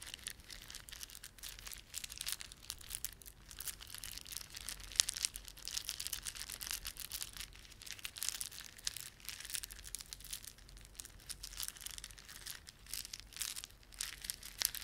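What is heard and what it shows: A plastic beaded ornament is rubbed and squeezed between fingertips, making a quiet, steady stream of dry, bright clicking and crinkling with almost no low end. The tiny clicks blur together into a continuous rustle, with a few sharper snaps standing out now and then.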